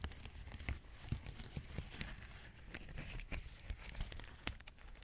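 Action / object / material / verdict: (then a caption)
scrape / plastic bubble wrap sheet / plastic / none. A large clear plastic bubble wrap sheet is held up beside the mic while fingertips and nails press and crinkle the bubbles. Dense, close crinkling runs throughout, punctuated by frequent sharp, bright snaps and ticks that die away almost instantly, over a low rumbling bed.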